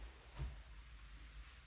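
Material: Nothing is struck.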